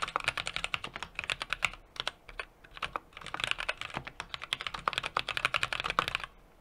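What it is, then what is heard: Mechanical keyboard typing. A small 60% mechanical keyboard with an aluminum case, brass plate and plastic keycaps is typed on rapidly with the fingertips of both hands. About 37 crisp, bright key clicks come in quick bursts, centered around 2.3 kHz, with a brief lull in the middle. Each click is short and dry with almost no low-end thump.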